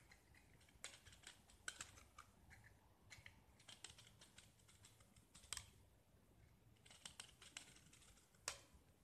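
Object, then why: Painted gypsum plaster disc. A small, solid gypsum plaster disc painted green is held in the hand and scraped with a utility knife blade, peeling off white gypsum shavings. The sound is quiet, with dry, bright scratches and crisp clicks in irregular bursts, each dying away almost instantly, with a few sharper snaps standing out.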